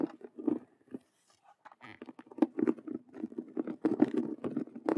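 Both hands scratch fast with long nails across a hollow faux leather Rubik's cube handbag with stitched vinyl squares. Dense bursts of dry scratching and tapping with a muffled, hollow mid-low tone pause briefly near the first second, then resume thicker and more rapid until the end.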